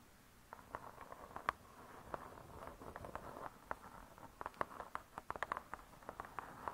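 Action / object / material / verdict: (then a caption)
tap / cardboard-covered spiral-bound book / cardboard / none. Long nails tap the cardboard-covered cover of a spiral-bound hardcover cookbook in a quick, uneven series of soft clicks. Each tap is short and dry with no ring, centered in a hollow midrange around 1.1 kHz over a faint scratchy hiss.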